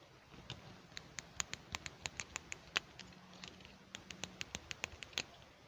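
Fingertips open, close and click a small, solid pink plastic toy hair clip held in both hands. The result is a quick series of sharp, bright plastic clicks and light tapping, with a faint low hum underneath.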